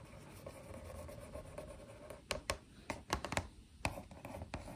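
Long acrylic nails and fingertips rub and scratch a hollow, medium-size printed cardboard box of Domaćica tart biscuits held on the lap. A soft, steady scratchy rubbing gives way to a series of sharp, bright nail taps and clicks on the cardboard.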